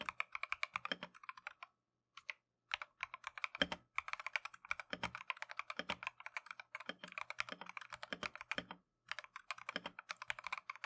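Gloved fingertips type continuously on a Keychron V1 full-size, hollow plastic-case mechanical keyboard fitted with Tangerine switches and green-and-white Matcha XDA keycaps. The result is a rapid stream of crisp, bright, short clacky key presses with very little low end, broken by a couple of brief pauses.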